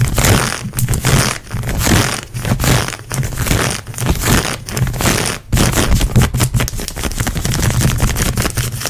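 Long nails scratch and pluck grey textured synthetic stretch leggings worn on the leg, over the knee. The result is a fast, continuous rasping scrape with a heavy low rumble and brief, uneven pauses between bursts.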